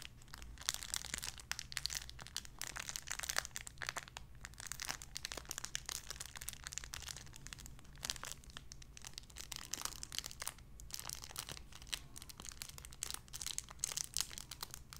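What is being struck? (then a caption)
Thin clear plastic bag holding a soft foam toy. A small clear plastic bag holding a white-and-pink squishy toy is crinkled and squeezed between fingertips with long red nails. Dense, bright crinkling and crackling runs continuously for the whole clip over a faint steady low hum.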